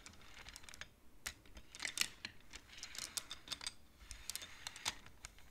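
Hands slide the painted wooden beads of a wooden abacus so they click together. A quick, irregular run of sharp, bright clicks and soft rattles follows, each dying away almost instantly over a quiet background.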